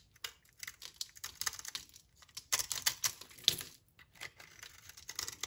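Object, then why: Soap bar shaved with a knife blade. A utility knife blade shaves crumbly layers off a solid, dry brown soap bar held in the hand. The result is a series of crisp, bright scraping and crackling bursts, with almost no low end and no ringing after each stroke.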